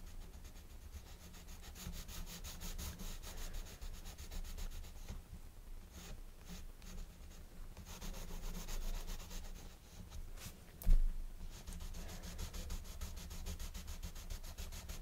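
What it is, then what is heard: Colored pencil scratching on a paper page. A blue colored pencil tip rubs back and forth on the paper page of an open coloring book resting on a wooden table, coloring in short, scratchy strokes. The strokes form a steady, soft rasping texture with a low hum underneath, and one brief louder bump near the end.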